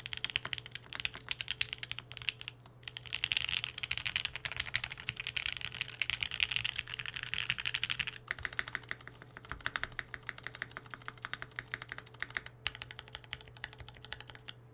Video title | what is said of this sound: Rocketkeyboards Mercury65! DROPS TODAY! MUST WATCH! | i thought this keyboard was gonna be hollow i really did ... but it sounds full